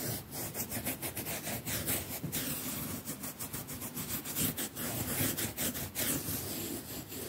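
A hand scrubs a pink plastic toothbrush back and forth across the surface of a quilted cotton mattress cover embroidered with "cotton" lettering. Dry, bristly scratching strokes follow one another in a steady, continuous rhythm, with a bright hiss over a soft low rustle.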